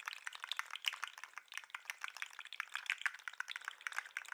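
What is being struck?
Plastic articulated lobster toy.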